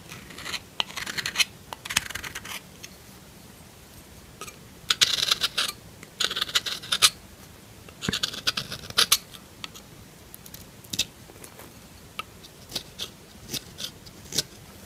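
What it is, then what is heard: Bar soap scraped with a knife. A metal knife scratches and scrapes across a solid pink bar of soap. Bursts of bright, dry scratching come in short clusters, then thin out into sharp, crisp ticks with brief pauses between them. There is almost no low end.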